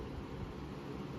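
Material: Nothing is struck.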